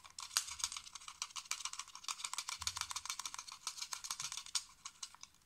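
A small black plastic computer mouse, a hollow shell with buttons, is held in the hands and tapped and clicked quickly by fingertips and nails. The result is a fast, uneven run of dozens of short, dry, bright clicks and taps with almost no low end and no ringing between strikes.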